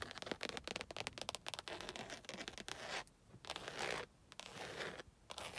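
Long acrylic nails tap and scratch the surface of a padded, black stitched leather car headrest mounted on metal posts. Rapid, dry, bright taps and scrapes come first, followed by longer, hissy scratching strokes separated by brief pauses.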